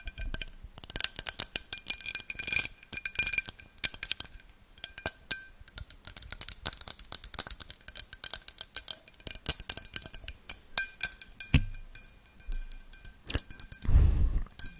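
An empty, hollow pink-tinted glass tumbler is held close to the mic, turned to show its base, and tapped with long dark-painted nails. Quick, bright clinks and ticks come in dense clusters, each dying away almost instantly with only a faint glassy ring. Near the end a brief low, rumbling thump breaks through.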